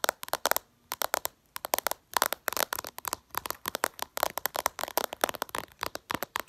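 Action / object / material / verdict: tap / glass smartphone screen tapped with fingernails / glass / none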